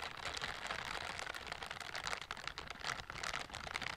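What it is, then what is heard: Silicone scrubber gloves rubbing. Gloved hands in pink silicone scrubber gloves with bristle palms rub and brush against each other close to the microphone. The result is a steady, dense scratchy rustle, bright and concentrated in the upper mids and highs with little low end.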